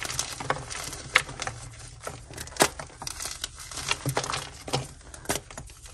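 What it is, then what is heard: Gym chalk block being crushed. A solid white gym chalk block of magnesium carbonate, coated in red powder, is held and crushed between both hands with long nails. Irregular dry crunches and bright crackling snaps break out among softer gritty crumbling. The block breaks into chunks and powder over a dark surface.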